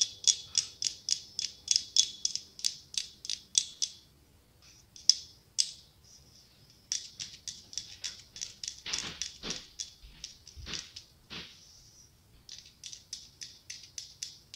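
Long pink nails tap and scratch a small hollow pumpkin ornament covered in glass mosaic tiles. Quick runs of sharp, bright, high-pitched clicks ring briefly off the glass, broken by short pauses and a few faint scratchy rasps.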